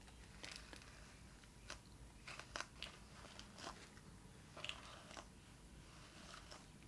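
Long nails tap and scratch the ridged surface of a small, hollow, shiny metallic-pink plastic shell-shaped purse from a Barbie The Movie doll, held in the hand. Sharp, brief clicks and scrapes come at an irregular pace over a faint, steady background hiss.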